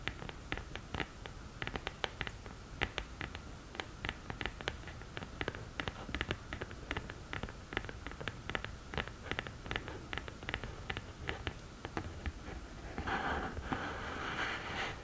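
Long nails tap rapidly and steadily on the textured lid of a black glittery cardboard eyeshadow palette, each tap a short, dry click with a bright edge. In the last two seconds the nails switch to a continuous, hissy scratching across the lid.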